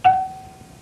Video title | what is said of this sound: Fly Fishing In Clear Waters with Peter Cockwill | that is a sign of a perfect tempered hook